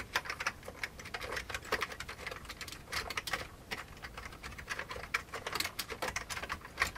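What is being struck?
Old plastic computer keyboard.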